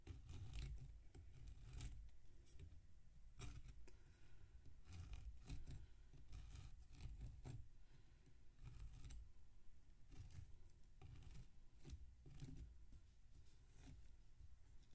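A light-colored knife, possibly plastic, slices repeatedly through a large solid block of damp packed sand, held by one hand, on a metal tray with loose crumbled sand around it. Soft gritty scrapes and crunches repeat steadily over a low, dull rumble, with brief bright gritty bursts on some strokes.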